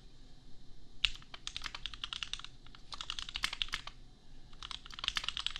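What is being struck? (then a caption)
Plastic mechanical keyboard. Fingertips of both hands type on a $250 custom compact mechanical keyboard with Gateron Milky Yellow switches and red and pink plastic keycaps. Bursts of sharp, bright plastic clacks come in quick runs, with brief pauses between them over a low, quiet background.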